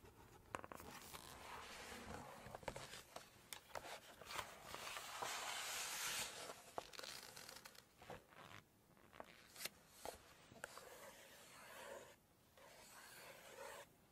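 Long fingernails tap and scratch across the glossy photo pages of an open Chinese cookbook, with pages being turned. Sharp, irregular taps stand out over bright, crinkly scraping and papery rustling, which swells into a steady hiss in places.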